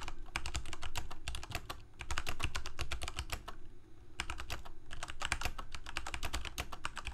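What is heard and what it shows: Both hands type rapidly with their fingertips on a full-size black plastic Corsair K68 mechanical keyboard with Cherry MX Red switches and blue backlit keycaps, resting on a white desk. The result is a fast, uneven stream of short, crisp key clacks with a low thocky body and almost no ring. It slows briefly near the two-second and four-second marks before picking back up.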